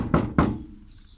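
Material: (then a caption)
Sheet metal. Two knocks on a bare sheet-metal body panel of a Renault Express van give a hollow thunk, the normal sound for comparison with a dull, full-sounding section packed with polyurethane foam behind it. Each knock is a short low thud that fades quickly.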